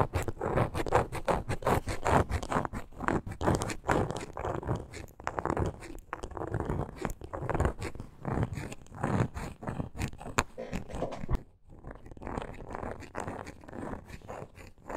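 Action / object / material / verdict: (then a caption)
scrape / small wooden block / wood / none. Long acrylic nails scratch and tap the wooden face of a small, solid, hand-held reddish-brown wooden block with a gold glitter strip on top. A dense run of short, dry scratches and clicks continues throughout, mostly low and mid-toned with very little brightness. There is a brief pause near the 11.5-second mark before the scratching resumes.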